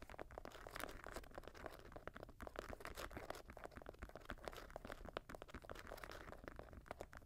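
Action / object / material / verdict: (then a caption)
scrape / suede and mesh sneaker upper and laces / suede, mesh / none. Fingernails scratch the suede and mesh upper and the laces of an empty grey Jordan high-top sneaker resting on a lap. A quiet, dense run of dry, crunchy scratches and crinkles follows, each stroke short with no ring, over a soft low rumble.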